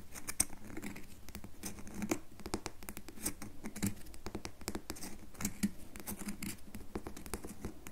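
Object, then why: Solid bar of soap. A solid red bar of soap is held in the palm while long nails dig into and scratch its top surface, sending shavings falling. The result is quiet, dense, continuous scratching and scraping, with rapid short crackly strokes and occasional brighter clicks over a soft low rumble.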